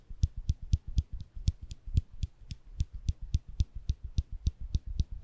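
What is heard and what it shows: A small folded stainless steel nail clipper is held between the fingers above the microphones while its lever is pressed repeatedly. About 20 quick, dry metal clicks come at a steady pace, each a bright snap over a soft low thump, with almost no ring after each click.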